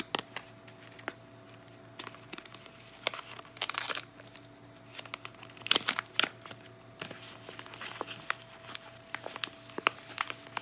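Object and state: Cardboard soap box being handled.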